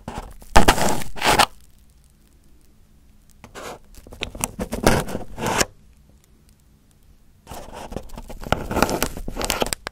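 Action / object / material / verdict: scrape / crumpled aluminum foil over a microphone / aluminum foil / none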